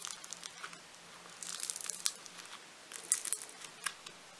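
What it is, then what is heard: Foam-bead clay being squeezed. Fingertips with painted nails squeeze, pull and knead a hand-sized, soft, solid lump of pink floam, a polystyrene micro-bead clay. The result is quiet, bright, crisp crackling and popping of the beads in short bursts with almost no low end. A faint steady low hum sits underneath.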